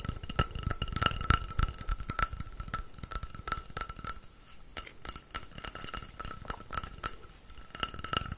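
A long, hollow painted wooden rainstick, orange with dot-art designs, is held upright in both hands while fingertips tap and scratch along its surface. Quick, irregular clicks and rattles from the filling inside sit over a low rumble, with a faint steady tone near 1.3 kHz.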